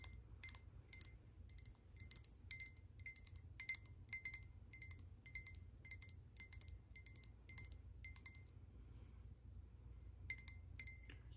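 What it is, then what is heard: Glass candle holder. A hand-sized, hollow, speckled glass votive candle holder with a Halloween silhouette print and a lit candle inside is held in both hands and tapped with long painted nails. Quick clusters of bright, high glassy clinks ring briefly over a low, steady background rumble. The tapping pauses near the end, then resumes for a few more clinks.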